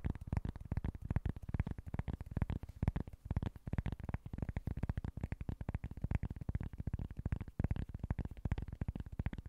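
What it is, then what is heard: Cork board. Fingertips and nails tap and scratch a small, flat, solid cork board in a fast, steady run of short, dull taps. The taps are deep and muffled, with almost no high or bright content, and each one dies away almost instantly.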